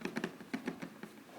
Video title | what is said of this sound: Moose Leather Shop Heirloom Leather Briefcase satchel -- saddleback leather review / unboxing | you can hear how stiff it is just tapping it